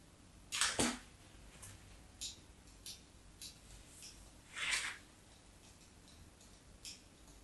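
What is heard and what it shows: A craft knife blade cuts cross-hatched grooves into an already-scored solid white bar of soap held in the hand. Seven short, bright scratching strokes are heard against a quiet background, the first and a later one near the middle being the loudest and longest.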